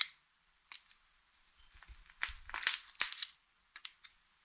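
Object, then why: Hard soap bar cut with a knife blade. A utility knife blade slices thin strips off one end of a solid blue Fax soap bar held flat on a bed of soap shavings. It makes a series of crisp, bright cutting and crunching scrapes, with short dry crackles and almost no low end, separated by brief quiet gaps.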